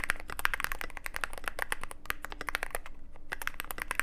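A mechanical keyboard with plastic keycaps and an aluminum case, black metal, typed on with fingertips. Fast, steady clacking of short, sharp key strikes comes through over a low background hum, each click dry and bright with little ring.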